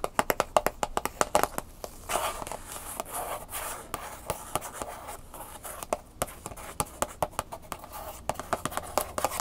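A round, hollow, rigid plastic clamshell package with a paper label, holding a USB flash drive, is held in one hand and tapped on its back with long nails in quick taps. The result is a rapid series of sharp, dry, hollow clicks with a midrange tone, each dying away almost instantly, with softer scratchy rustling between bursts of tapping.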